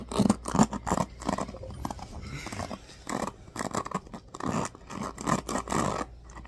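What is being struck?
Plastic hairbrush bristles.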